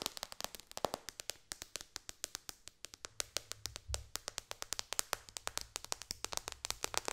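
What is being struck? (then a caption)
Tablet glass touchscreen. Long dark fingernails on both hands tap rapidly on the solid glass touchscreen of a white-bezel iPad lying flat. About 55 sharp, bright clicks come in a fast, uneven stream, each dying away almost instantly, with a faint low rumble underneath partway through.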